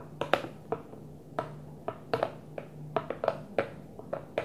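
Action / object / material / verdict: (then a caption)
tap / plastic food container / plastic / none. Light fingertip taps on a Tupperware plastic food container, about 14 taps at an irregular pace. Each tap is a short, hollow click centered near 550 Hz with a brief bright edge and almost no ring, over a faint steady low hum.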